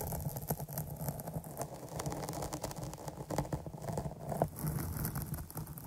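Long nails scratch and tap the top surface of a dark foam microphone windscreen, fingertips arched over it. Close, bassy scratching and rustling crackle runs continuously, dotted with quick soft taps that stop almost instantly, plus faint high hiss above.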